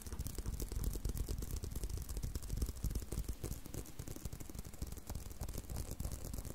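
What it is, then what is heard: Leather belt. Continued tapping and scratching on a leather belt, heard as a quick, uneven run of soft, dull thuds with low-frequency body and very little high-end brightness. Each tap dies away almost at once, and a faint rough scratching texture runs underneath.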